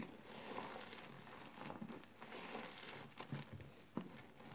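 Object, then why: Green soap paste in a basin. Hands push into a blue basin filled with smooth, wet, soggy green soap paste, then pull and squeeze up a mass of the mushy soap. Quiet, sticky squelches and soft crackling pops sound over a continuous wet, smeary texture, with a few sharper squishes standing out.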